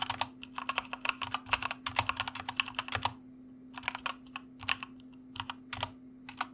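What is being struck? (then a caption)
Plastic mechanical keyboard. Rapid two-handed fingertip typing on a white plastic mechanical keyboard produces dense, bright clacky keystrokes. There is a brief pause around three and a half seconds before the typing resumes in looser bursts. A faint steady low hum sits underneath.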